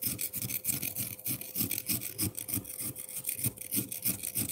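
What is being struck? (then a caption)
Frozen milk ice block and metal fork. A metal fork rapidly scratches and scrapes the surface of a solid frozen milk ice block, shaving off fine shavings. The quick, fairly regular strokes come at about three per second. Each one makes a bright, hissing rasp over a soft low thump, with a faint steady tone running underneath.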